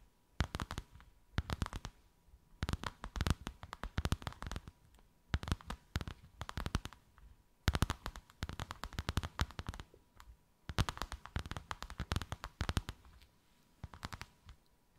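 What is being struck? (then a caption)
Faux leather sheet tapped and scratched with fingernails. Long white acrylic nails tap and scratch a thin white faux-leather sheet with a snakeskin emboss, draped over something rounded. Rapid, dry, soft taps come in dense bursts separated by short pauses, with a low, muffled thud in each tap and almost no ring.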